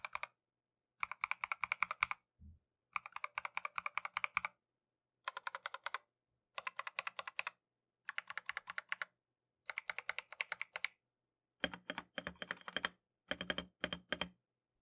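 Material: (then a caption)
Plastic. A compact Keychron V1 mechanical keyboard with Tangerine switches and green and white Matcha plastic keycaps, resting on a mat on a desk, is typed fast with gloved fingertips. The keys give off rapid, crisp clacks in about nine bursts separated by short pauses. Each press is bright and dry, with no ring, and the last bursts sound denser and fuller.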